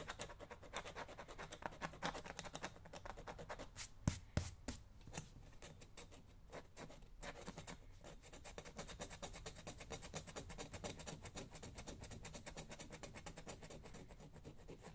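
A small hand tool held in the fingers scratches a solid black leather lace-up work boot while the other hand steadies it. The result is a quiet, continuous run of dense, rapid scraping strokes with a low rumble beneath and a brighter rasp on top. Around the four-second mark, a few sharper, louder clicks stand out.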